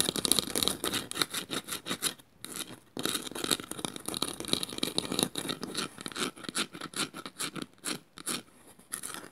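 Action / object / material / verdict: scrape / woven bamboo bowl / bamboo / none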